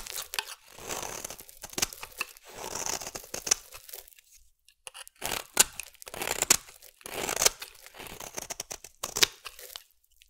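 A metal blade shaves thin curls from a solid orange bar of soap. The result is a series of dry, crisp scraping and tearing strokes, bright and hissy with almost no low end, each stroke ending abruptly before the next.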